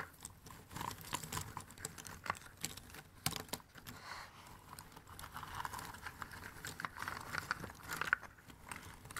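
Fingertips rummage, stir and scratch through a pile of thin cardboard jigsaw puzzle pieces in an open cardboard box. The result is a dense, continuous stream of soft, dry rustles and quick clicking ticks, brightest in the upper mids, with short, sharp clacks standing out now and then.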